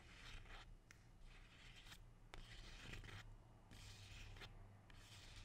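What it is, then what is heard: Rubber plant leaf rubbed. A single large, dark green, waxy leaf from a glossy rubber plant, thin and flexible, is held close and rubbed with fingertips and nails. Quiet, bright, scratchy rubbing comes in repeated bursts with short gaps over a steady low hum.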